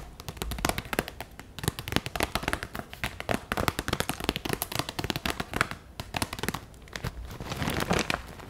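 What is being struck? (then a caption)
Clear vinyl zip pouch holding pens and markers. A hand-sized clear vinyl zip pencil case with pink trim, full of markers and pens, is held in both hands and handled with fingertips and long nails. Dense crinkling, tapping and squeezing of the plastic produce rapid, sharp, bright clicks and crackles over a low rustle, continuing throughout.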